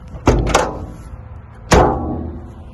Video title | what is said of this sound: 1959 Land Rover Series II Patina Restoration FOR SALE! | that sound is what you want to hear when you close the door to a Land Rover